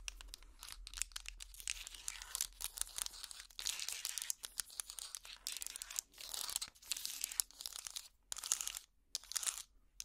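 A trivet hot pad made of small solid wooden blocks is held up and scratched across with long plastic finger picks. The result is dry, bright, crackly scratching in short bursts separated by brief pauses, with almost no low end and no ring after each stroke.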